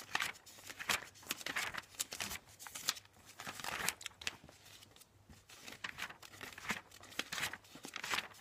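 Fingertips quickly flip the pages of a thick, glossy paper IKEA catalog lying open on a bed. The pages flutter and slap as they turn, making a rapid, irregular run of bright, crisp papery swishes and crinkles. Each slap ends almost at once, and the sound has very little low end.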